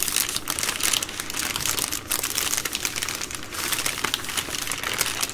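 Long nails scratch and tap across the plastic film wrapping a full three-pack of baby wipes. The result is a steady stream of bright, dense crinkling with quick tapping ticks and very little low end.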